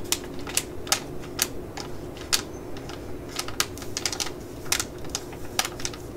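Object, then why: Laminated plastic foil sachet. A small, full, black laminated foil eye-patch pouch is held in the hands and tapped and crinkled with long nails. It makes a quick, irregular series of sharp, bright, crisp clicks and rustles over a steady low background hum.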